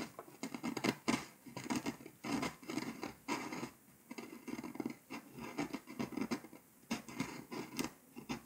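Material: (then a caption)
Foil paper. A pink scraper tool scratches the foil coating off a flat, foil-coated paper scratch-off map, leaving loose flakes on the surface. It makes repeated dry, rasping scrapes in short bursts, each with a gritty low-mid body and a bright hiss. The strokes stop dead with almost no ring between them.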